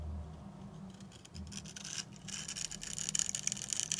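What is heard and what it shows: A steel utility knife blade scrapes a dry, hand-sized solid purple bar of soap, pre-scored into a grid and held in the hand, flaking off small cubes. Bright, dry, crunchy scratching strokes come in irregular bursts and grow louder and crisper toward the end, over a faint low hum.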